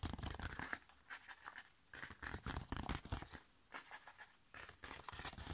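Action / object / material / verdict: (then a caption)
scrape / foil-laminated plastic sachet / foil laminate / none. Long nails tap and scratch the back of a flat, sealed, foil-laminated plastic sheet face mask sachet, then squeeze it near the top edge. Quick, bright crinkling and scratchy rustles come in bursts with short pauses between, over a soft low thump from the handling.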